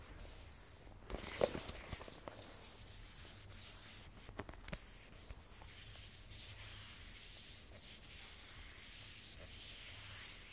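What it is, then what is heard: Cardboard phone box. Fingertips and a palm slowly rub across the matte surface of a small, rigid, closed black cardboard iPhone box. The result is a quiet, steady, bright, hissy scraping, broken by a few faint, brief ticks in the first half.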